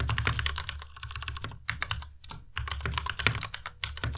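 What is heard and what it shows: Fingertips type on a white Ducky Miya Pro tenkeyless mechanical keyboard with plastic keycaps. Rapid, clacky keystrokes pair bright, high clicks with a low, hollow thock beneath, each dying away almost instantly. The typing runs in quick bursts with short pauses just after 1.5 seconds and again around 2.3 seconds.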